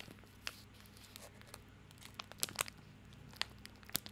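A small bar of soap in a printed white-and-orange plastic/paper wrapper is held in both hands close to the microphone while the fingertips squeeze and crinkle the wrapper. Quiet, sharp, bright crackles and crinkles pop out irregularly over a low, steady hum.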